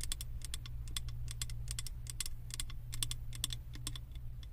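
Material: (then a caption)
Glass. Long acrylic nails tap quickly along the side of a large glass candle jar that is filled with solid wax and printed with house designs. The taps come as fast, bright, dry clicks in uneven bursts over a steady low hum.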